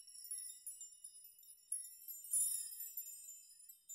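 Hands grasp, sweep through and shake dense rows of hanging metal nails on both sides of a nail chime, so the nails clink against each other. The result is a quiet, continuous, bright, high metallic tinkling with no low end, built from clustered clinks that ring briefly and swell into a denser shimmer midway through.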